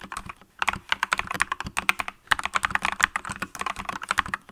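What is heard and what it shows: Both hands type continuously on a green mechanical keyboard with yellow and green plastic keycaps, striking with fingertips and long nails. About 26 quick, bright, clacky key presses land in rapid bursts, each dying out almost instantly, with brief pauses near the start and the middle.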